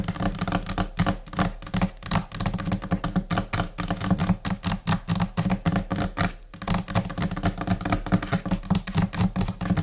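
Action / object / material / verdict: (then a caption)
tap / laminated particleboard desk top / laminate / none. Long painted nails of both hands tap rapidly and in scattered rhythms on the large, solid, flat top of a white laminate desk, probably laminated particleboard. The taps are quick, dry clicks that die away almost at once over a low, hollow thump. They run in a dense, uneven stream with a brief pause just past the midpoint.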